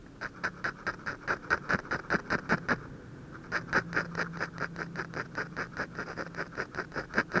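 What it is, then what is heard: Drawing paper sheet. A ballpoint pen tip, held at a low angle, scratches and hatches shading beside the nose of a drawing on a thin white paper sheet. The result is a run of quick, dry scratching strokes with a bright papery rasp. There is a short pause near the middle before the hatching resumes at a steady, rapid pace.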